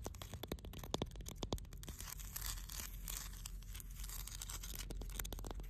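Long blue nails tap and scratch the rough surface of a large solid granite rock by the water. Quick, sharp clicking taps in the first second and a half give way to a steady, bright, rasping scratch, all over a constant low rumble.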